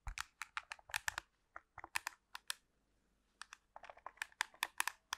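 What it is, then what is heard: Plastic remote control. Long pink nails tap and scratch along the body of a black plastic TV remote control held in the hands. Quick, dry, bright clicks come in uneven bursts, with a brief quiet pause near the middle. Each tap is short with no ringing, set against faint scratchy rustling.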